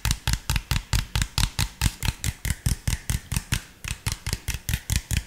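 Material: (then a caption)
Plastic. Fingertips tap the body and cap of an empty, hollow clear PET drink bottle with an orange label and cap. About 24 quick, hollow taps come in a loose, steady rhythm, each with a low thump, a bright click and almost no ring. There is a brief gap near the end before the tapping resumes.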